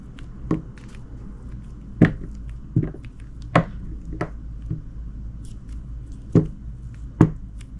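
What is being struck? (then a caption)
Glycerin soap bar cut with a knife blade. A small, solid chunk of translucent green glycerin soap is held in the fingers and sliced into cubes with a utility knife blade. Six sharp, low, dull cutting sounds stand out, with a couple of fainter slices between them. Each one dies away almost instantly against a quiet background.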